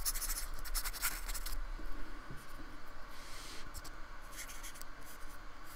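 A fine brush with a metal ferrule scratches and rubs across the textured surface of a small painted square of solid white polystyrene foam resting on a wooden table, in repeated strokes. Dry, bright scratching bursts are loudest in the first moments, then settle into softer rubbing over a steady low hum.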